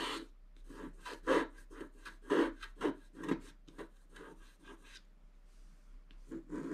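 A wooden stylus scratches the coating near the top edge of a black-coated scratch-art paper page. A series of short, dry scratching strokes comes in an uneven rhythm, each with a soft low-mid body and a bright, hissy edge. A few strokes stand out louder, and between them only a quiet background hiss remains.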